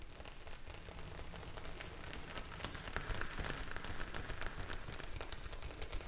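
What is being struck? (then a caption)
Plastic bag filled with gel beads. A clear plastic bag filled with blue gel beads is held close and tapped and scratched with long nails. The result is a soft, irregular, rain-like patter of crisp ticks over a low rumble that grows slightly louder toward the end.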